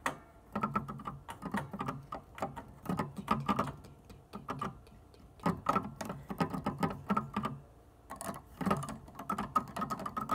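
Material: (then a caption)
Plastic. Long dark nails and fingertips of both hands tap on the black and white plastic keys of an organ keyboard without playing notes. Quick, dry clicking taps with a low, hollow thud come in bursts separated by brief pauses, with a faint ring that dies out almost at once.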